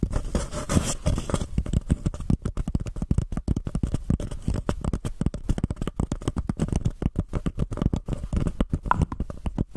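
A small, empty white paper cup with an embossed, textured surface sits upside down over a microphone and is scratched and tapped with long painted fingernails from both hands. It produces a rapid, continuous stream of soft scratching and hollow tapping that sounds muffled and low, with a deep, boomy thump under each touch.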